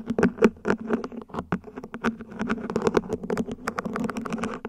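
A small hollow mint-green ribbed plant pot, probably plastic, rests upside down while long nails tap its top and scratch along the ribbed sides. The result is a dense run of quick, dry clicks and light ticks with a faint hollow resonance around 220 Hz and short bright edges.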